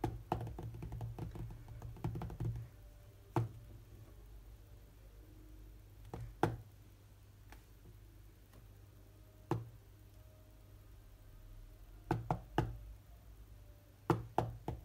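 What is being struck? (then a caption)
Glass tablet touchscreen. Fingertips tap on the glass touchscreen of a large tablet lying flat. Short, sharp, dull taps come in a rapid irregular flurry at first, then sparser single taps and quick clusters, each dying away almost at once. A steady low hum runs underneath throughout.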